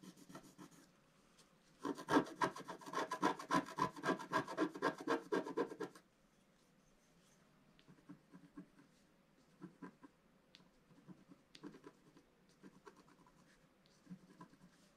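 A wooden stylus scratches the coating of a black wax-coated scratch art card lying flat and held by one hand, working near the chimney of the picture. A dense burst of rapid, raspy scratching runs from about 2 to 6 seconds. Quieter, scattered scratches follow until the end.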